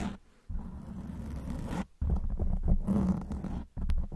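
Long white nail tips scratch a black foam windscreen on a silver microphone from both sides. The result is a deep, muffled, rumbling scratch heavy in low tones, heard as three sustained bursts separated by brief silences.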